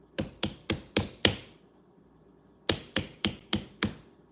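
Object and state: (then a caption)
Ripe watermelon. A home-grown 5-pound yellow honey watermelon, with a dry tendril and a small blossom end, is knocked ten times for a thump test. The knocks come in two bursts of five, separated by a pause, and each is a short, dull thump that dies away quickly. When cut, the melon popped open and proved ripe and delicious.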